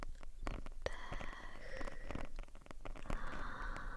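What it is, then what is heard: Foam microphone windscreen being scratched. Long nails of both hands scratch the black foam windscreen, a soft porous cylinder, on a RØDE shotgun microphone. The result is close, bassy rustling and crackling broken by sharp, dry ticks, with faint whistling tones drifting through the mid range.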